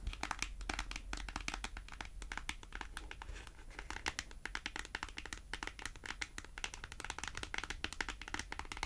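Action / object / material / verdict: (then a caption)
tap / small cardboard price tag tapped and scratched with fingernails / cardboard / none. A small, thin, flat white printed cardboard price tag, held in both hands, is tapped and scratched with long acrylic nails. A rapid, continuous stream of crisp, dry clicks and scratchy rustles rings bright across the high range, with each tap ending almost instantly.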